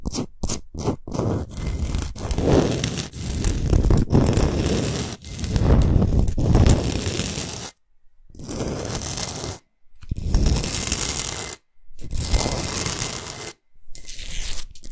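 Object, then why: Rock salt block. Long nails quickly scratch the top surface and edges of a large, flat, rectangular solid block of pink Himalayan rock salt. The result is a dense, gritty rasping in bursts of fast strokes, broken by short silent pauses.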